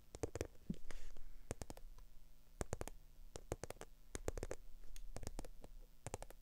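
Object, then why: Faux leather handbag. Long acrylic nails tap and scratch the textured side of a small black, glossy, croc-embossed faux leather handbag. Sharp, bright clicks come in quick irregular bursts over a soft scratchy rustle and a low rumbling bed. The taps are crisp and die away instantly.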